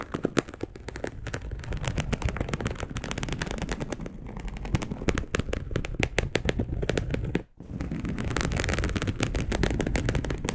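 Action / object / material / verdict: scrape / polyester mesh fabric sheet / polyester / none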